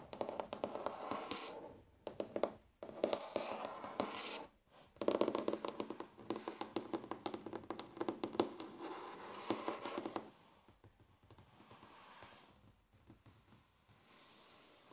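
Fingers tap and scratch across a wooden table, giving dense, dry clicks and scrapes with a warm midrange and a brushy high edge. Brief pauses fall around 2, 2.7 and 4.6 seconds. After about 10 seconds the sound drops to softer, sparser scratching.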